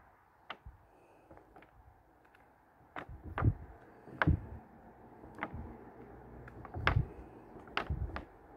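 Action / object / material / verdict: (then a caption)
flick / paper pages of a hardcover book / paper / none. Fingers flip and turn the printed paper pages of a large, thick hardcover plant book with a red cover, the pages brushing against each other. About nine soft, papery flicks and snaps stand out over a low, steady rustle, each one short and dry with a dull low thump beneath it, the loudest landing near the middle and end.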